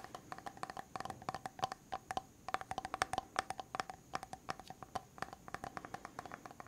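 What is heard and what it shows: A medium white plastic hair mask jar with a silver lid is held sideways while fingertips and nails tap quickly on the lid and rim. Dozens of quick, dry clicks come in uneven bursts, each with a faint hollow tone near 760 Hz and a bright edge. The taps die away almost instantly.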